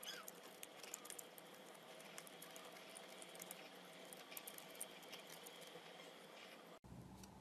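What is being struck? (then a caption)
Round bar of soap scraped with a metal peeler. A hand-held, solid, round, purple speckled soap ball is peeled and scraped with a metal vegetable peeler that lifts off curled shavings. A quiet, steady, bright scraping hiss is dotted with small crisp ticks and crackles. Near the end there is a brief silent break before the scraping resumes.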